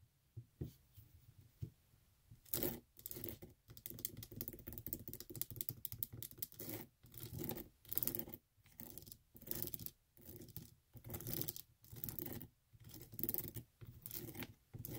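Long acrylic nails scratch and tap the faux-leather straps and sole of a tan flat strappy sandal with a metal buckle, held in the hands. After a few soft, scattered taps, dense bursts of quick scratching and tapping begin, rising and falling in short rhythmic clusters with brief pauses between them.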